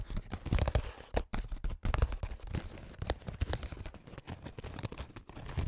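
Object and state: Plastic zipper pouch tapped and scratched.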